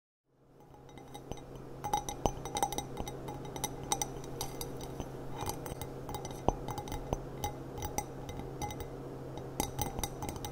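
A glass cup with gilt trim, a thrift-store find that matches a set of china, is tapped repeatedly. The result is a quick series of short, bright clinks and chinks over a steady low hum.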